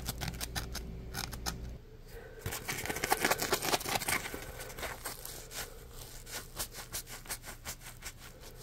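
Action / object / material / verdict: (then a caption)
tap / polymer foam scrub sponge / polymer foam / none. A dry, porous, palm-sized yellow smiley-face Scrub Daddy polymer foam sponge is tapped with a fingertip, making quick soft clicks over a low hum. It is then squeezed in a fist, giving a dense, crackly squeak and scrunch that peaks midway. This is followed by a run of softer rhythmic pulses as the grip works the foam.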